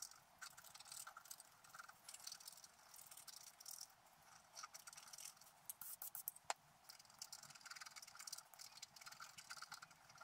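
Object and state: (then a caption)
Scratch art card being scraped. A wooden stylus held in the fingers scratches the black coating off a flat scratch art paper card resting on a table, while the other hand holds the card in place. The result is a steady run of quiet, bright, dry scratching strokes with short rasping bursts and a sharper scrape near the end.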